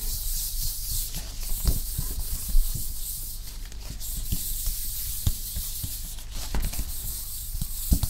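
A hand's palm and fingers rub in slow strokes across the smooth, glossy printed card cover of a medium-sized paperback book on the Norman Conquest, held up in one hand. A soft, steady bright hiss runs throughout over a low rumble, broken by five brief soft bumps.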